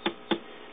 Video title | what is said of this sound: How to Test a 6dj8 with a 539c Hickok tube tester | I heard just a little bit of popping there but nothing to declare problems